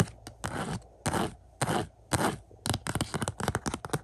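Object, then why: Glossy cardboard slipcover on a disc case. Fingertips and nails scratch and scrape the front of a glossy cardboard slipcover on a 4K Blu-ray case of the movie Shang-Chi, lying on carpet. Four long, bright, hissy scrapes come first, followed by a quick run of short, rapid scratches.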